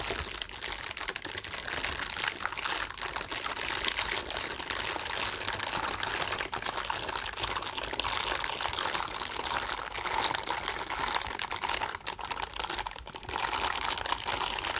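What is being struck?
Silicone scrubbing gloves rubbed together.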